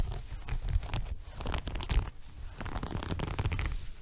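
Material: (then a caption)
Woven fabric. Fingertips and nails scratch and rub the coarse weave of a small, flexible, multicolored woven fabric rug held upright in front of the body. The result is a steady run of dry, close-up scratching and rustling with short, quickly fading bursts over a soft, low rumble.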